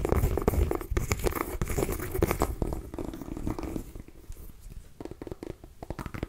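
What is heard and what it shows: A small orange mini pumpkin, a hollow gourd, is held in both hands and scratched and tapped with long nails. Dense, rapid scratching mixes with quick dull taps that carry a low, hollow thump. The scratching grows quieter and sparser in the second half, leaving scattered soft taps.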